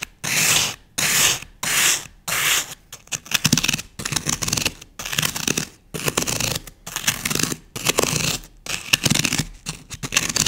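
A thin wooden skewer quickly scratches and scores grooves into the face of a solid green floral foam block held in one hand. Bright, dry rasping strokes come in rapid bursts separated by brief silences, with the first few strokes longer and later ones choppier and more crackly.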